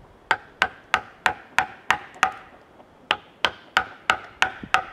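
A wooden mallet drives a chisel into the cut face of a large solid cedar log, producing 13 sharp, dry knocks with a pause midway. Each hit has a woody tone near 760 Hz, a bright attack and a very short decay.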